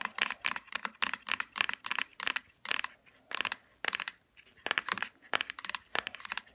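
Long fingernails tap and scratch across a small pink plastic hair serum bottle lying on its side and its black plastic cap. The sound is a run of quick, bright, dry plastic clicks in uneven bursts, with short pauses and light scratching between them. Each click dies away at once with almost no low end.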